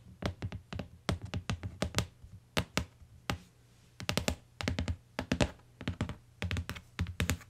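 Long nails tap the lower edge of a closed tan hardcover book with a cardboard cover lying on a fur rug, then fingertips tap its cover. The result is a run of quick, dry taps in rhythmic bursts, each a soft low thunk with a brief bright click and almost no ring.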